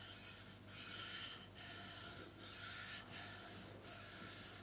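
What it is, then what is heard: Plastic hair straightener. Long painted nails tap and rub the hollow body of a black plastic flat iron (hair straightener) with metal-coloured plates, held close to the microphone. The result is a steady, bright, scratchy rubbing that swells and dips in repeated strokes over a faint low hum.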